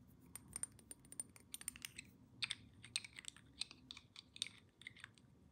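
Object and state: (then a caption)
Glass perfume bottle. A small square glass perfume bottle, partly filled with amber liquid and topped with a metal cap, is tapped quickly all over with long painted nails. The result is a quiet, rapid run of sharp, bright clicks that stop dead with almost no ring, some taps landing harder than others.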